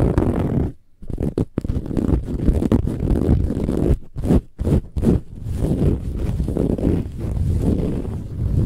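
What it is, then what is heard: Metallic woven fabric pillow being scratched. Long nails scratch fast across a large, soft, filled pillow with a silver-gold textured metallic woven fabric cover. The result is a dense, low, rumbling scratching, broken by brief silent gaps near the first second and again around the fourth to fifth second.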